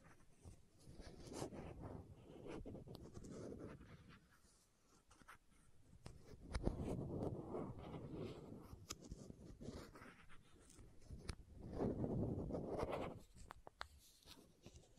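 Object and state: Plastic contact lens case.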